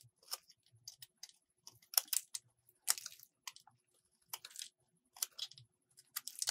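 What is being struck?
Bar of soap shaved with a metal blade.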